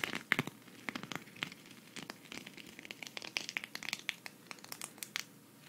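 A flat, thin green sequin cactus patch is held at the side and scratched and rubbed with long red fingernails. The result is a dense run of quick, bright clicks and crinkly ticks with almost no low end. The taps come in many short, sharp bursts over a soft hiss.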